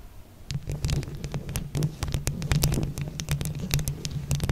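Long acrylic nails on both hands scratch and tap all over a hollow mesh microphone head covered in glued plastic flower buttons. Quick, dry clicks and scratchy rasps come in a dense, uneven patter over a steady low, boomy hum that dominates the sound, with brief bright ticks flashing through. The tapping starts softly, then stays busy and close for the rest of the clip.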